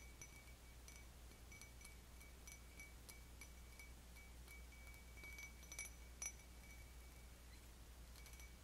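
An empty, stemmed cut-crystal wine goblet, held upside down by its foot, is tapped with long fingernails on the bowl and stem. The taps give light, irregular ringing chimes with a high, bright tone that fades quickly, over a steady low hum.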